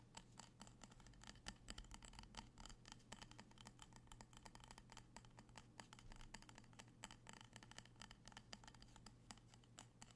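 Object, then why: Wax-filled glass candle jar. A small amber-orange glass candle jar with a printed label and a metal rim, filled with wax, is held in both hands and tapped and scratched with fingertips and nails. A quiet, steady stream of quick, dry clicks and scratchy rustles, each dying away almost instantly, plays over a constant low hum.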